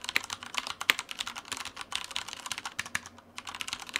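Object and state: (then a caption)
Plastic mechanical keyboard. Steady two-handed fingertip typing on a black Typhoon Mars Pro tenkeyless mechanical keyboard with Cherry brown switches and plastic keycaps, resting on a white desk. It makes a continuous stream of quick, bright plastic clacks. Each key press dies away almost at once, with a few sharper strokes standing out.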